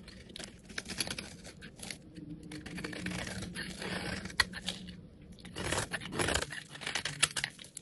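A metal utility blade shaves thick flakes off a solid, rectangular, hand-sized, cream-colored bar of soap held in the hand. The result is a series of dry, crackly scraping and tearing strokes with a bright, papery texture. The strokes swell and fade, with a few sharper snaps between them.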